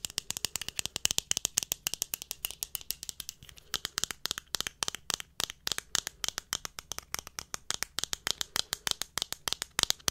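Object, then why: Plastic camera lens cap. A small, flat, hollow black plastic Canon lens cap is held in both hands close to the microphone and tapped and scratched with long manicured nails. Dozens of rapid, sharp, bright clicks with almost no ring run throughout, over a faint scratchy rustle with very little low end.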